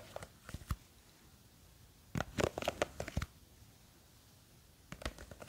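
Fingers with long green fake nails grip a small clear plastic jar full of blue gel beads from above, tilting it and scratching at it. Three bursts of short, dry clicks and crackly scratches come at the start, the middle, and the end, with quiet pauses between.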